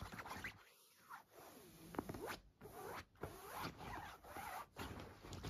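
Long nails scratch along olive-green woven cotton trousers lying flat on a bed, giving a series of short, dry, raspy strokes with a zipper-like texture. The strokes come in quick bursts separated by brief silent gaps.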